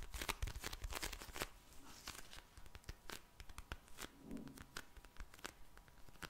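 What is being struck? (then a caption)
Vinyl gel bead eye mask. A pink vinyl gel bead eye mask, a soft filled pouch, is tapped and scratched with long nails and fingertips. The result is quiet, irregular crisp clicks and crinkly, tearing-like scratches with bright edges, over a faint steady tone near 910 Hz.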